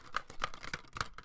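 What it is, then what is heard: DVD case with a loose disc rattling inside. A plastic DVD case with a loose disc inside is shaken like a maraca, making the disc rattle. Short, dry plastic clicks and clatters repeat in quick bursts, with a bright clacking tone around 1.2 kHz and little ring after each hit.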